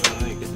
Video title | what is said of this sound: 2018 해양직업의 세계(꿈꾸는 장보고) - 선박검사원 | 내부 부대가 결합된 부분 같은 경우는 이렇게 탁탁한 소리가 나고